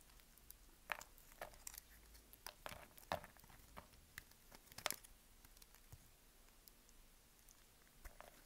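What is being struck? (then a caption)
Bar of soap cut with a small knife. A small knife makes repeated crisp cuts into a solid, dry green bar of soap held in the hand, releasing small cubes. Sharp, bright crunching snaps stand out at irregular intervals over a faint background hiss, each one dying away almost instantly.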